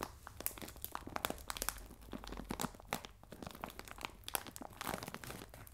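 Fingernails scratch and crinkle the film of a clear plastic bag full of biscuits resting on a table. A dense run of crisp, bright crackles and sharp clicks comes with quick, dry rustling and almost no ring after each snap.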